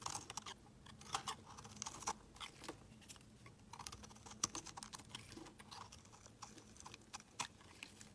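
A utility knife blade shaves curls off a palm-sized, rounded rectangular pale pink bar of solid soap. Quiet, dry, crisp scraping and crackling ticks come in quick irregular bursts, bright and brief, with almost no ring.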